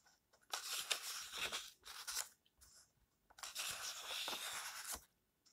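Fingertips slide along the yellowed pages of an open paperback book lying on a table and turn them. The result is dry, bright papery rustling and crinkling in bursts: a long swish, a couple of shorter brushes, then another long sweep that fades to quiet.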